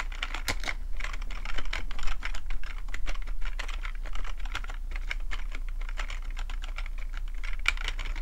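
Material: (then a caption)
Plastic. Fingertips type on the keys of a full-size black plastic computer keyboard with a hollow plastic body. Quick, irregular taps and clicks come in a dense, uneven stream, each short and bright, over a steady low hum.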